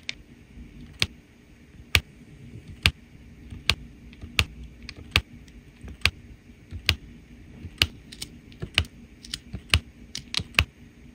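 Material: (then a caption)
Resin. A plastic drill pen with a metal tip presses small faceted resin rhinestones, one by one, onto a flat adhesive diamond painting canvas. Nineteen light, bright taps and clicks ring out at an uneven pace, each dying away almost instantly over a faint low background hum.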